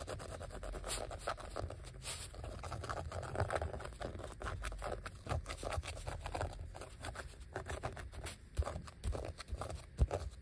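Fingertips and nails scratch and rub across the embossed letters of a thin, solid, flat yellow vinyl sheet of die-cut letter stickers lying on a stack of other sheets. The result is a quiet, continuous texture of dry scraping and fine scratching, weighted toward low rumble, with a few sharper ticks standing out near the end.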